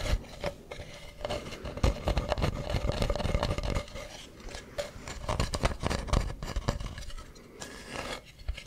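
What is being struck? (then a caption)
Carved wooden mask. Fingernails scratch and tap the ribbed, painted surface of a hollow carved wooden mask close to the mic. The result is a dense, irregular run of dry, low scrapes and short knocks with a faint rasping edge, each one dying away almost at once.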